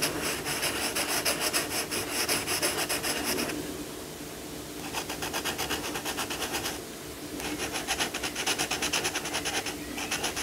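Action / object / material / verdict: scrape / crayon on paper page / paper / none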